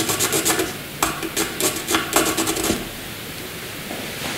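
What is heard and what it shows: The tip of a black wooden graphite pencil shades and draws strokes on a flat white sheet of drawing paper lying on a table. Quick, uneven scratchy rubs with a bright, hissy rasp fill the first few seconds, then the sound drops to a faint, soft scraping near silence.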